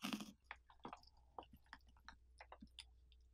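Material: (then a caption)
Pumpkin flesh. Bare fingertips scrape and rub wet pulp and seeds off the inner wall of a large orange pumpkin that has its lid cut off and is hollow and partly gutted. A loud, broad, wet rasp opens the clip, followed by a run of short, soft, squelchy crackles and clicks at a low level.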